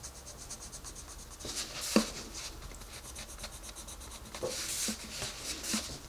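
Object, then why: Wooden colored pencil on a paper coloring book page. A wooden colored pencil is rubbed over the page of an open paper coloring book on a desk while the other hand holds the page steady. Soft, bright, papery scratching and rubbing strokes repeat throughout, with a sharper scrape near the two-second mark and brighter bursts toward the end.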